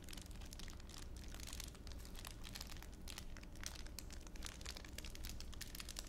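A thin, clear plastic wrapper is crumpled by fingertips while held in a palm. It makes a steady, dense crinkling of quick bright crackles over a low, soft rumble. The sound stays quiet and even throughout.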